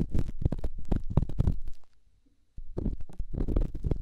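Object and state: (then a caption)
Rough stone rubbed on a silicone ear microphone. An elongated, solid rough rock held in the fingertips is scratched and rubbed inside a silicone microphone ear, making dense, muffled, low-heavy scraping and thumping bursts. The rubbing stops for about half a second of near silence, then resumes in quick, irregular strokes.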